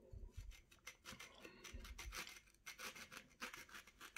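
A small steel knife scrapes and slices the rind off a partly peeled orange held in the hand, cutting it away in strips that pile up on a plate. There are many short, bright rasping scrapes, with a few soft low thumps near the start and middle.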